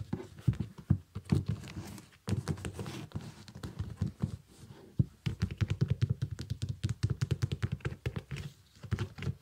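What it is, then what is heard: Synthetic leather sneaker. Fingertips and nails tap and scratch the upper and sole of a small, shiny, iridescent synthetic leather baby sneaker. Rapid, dull, low thumps and soft patters come in dense bursts, with faint scratchy texture and brief pauses between runs. Each tap is short and dry, dying away almost instantly.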